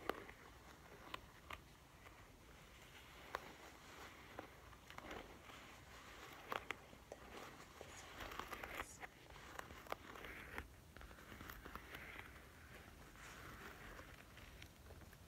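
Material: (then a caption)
Faux leather. Fingertips and painted nails scratch and tap the soft, padded quilted surface of a pink-beige faux leather zip wallet lying flat on a table. The result is a quiet, continuous crackly scratching broken by scattered sharp, brief clicks from the nails.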